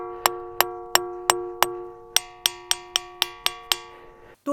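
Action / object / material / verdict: strike / granite boulder struck with a stone / granite / ringing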